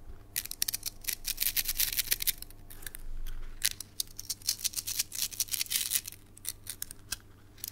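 A red translucent plastic slinky spring toy, palm-sized, is passed between the hands with the fingertips and shaken so its coils clack together. The result is a rapid, irregular run of bright, dry clicks and rattles with no ring, bunching into louder bursts and thinning into softer patches. A steady low hum runs underneath.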